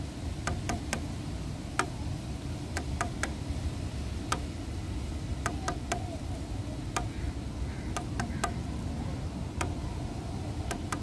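Fingernails tap and tick on grey, weathered solid wooden bench slats, making 18 sharp, short clicks in irregular clusters. The clicks sit over a steady low-frequency rumble.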